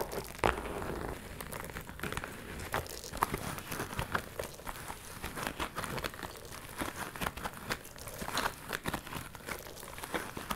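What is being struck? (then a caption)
Small faux leather purse. Long nails scratch and rub a small, hollow pink metallic faux leather purse with a ruffled flap. The result is a steady, quiet run of dense crinkly scratches and short rustling bursts, with occasional brighter clicks standing out above the soft scraping.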